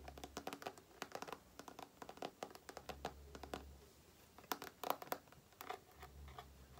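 Long painted nails tap and scratch a small, soft, printed plastic face-cream tube that is filled. About 30 quick, dry clicks and scratchy strokes sound in uneven clusters, with a low hum underneath.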